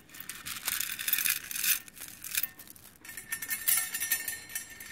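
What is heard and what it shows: A hand drops and drapes teal and green metallic plastic bead necklaces into an open round metal tin that already holds a pile of gold and green beads. The strands make a bright, crisp rattling clatter in several bursts as they land on the metal and the beads inside, with almost no low end.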